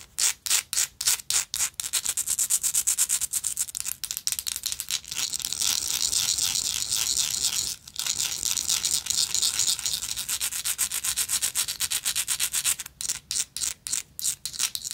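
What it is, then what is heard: Textured metal lighter, scratched. Long acrylic nails rapidly scratch a gold metal lighter with a ridged texture, making a bright, high-pitched scraping sound. Quick separate strokes at the start and end frame a stretch of continuous rasping in the middle, broken by a brief pause.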